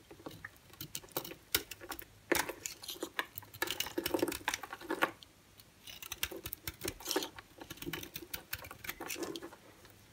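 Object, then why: Bar of soap cut with a blade. A solid white bar of soap held in the hand is scored and shaved with a utility-knife blade into thin curls. Dense bursts of crisp scraping and scratchy ticks come in uneven clusters, with a quiet pause near the middle, over a faint steady background.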